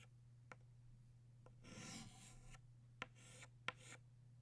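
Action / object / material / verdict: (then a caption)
scrape / chalk stick on a chalkboard / chalk / none. Purple chalk held in the fingertips draws small leaf strokes with short scratching motions on a flat black chalkboard. A few sharp, brief taps of the chalk alternate with longer bright, rasping scrapes over a steady low hum.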